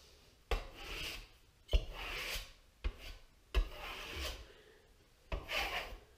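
A metal trowel or spatula scrapes and rubs Lutèce 2000L French plaster onto a large gypsum plasterboard wall on a metal frame in five separate strokes. Each stroke starts with a sharp knock, then a rough, rasping scrape with bright texture over a low thud.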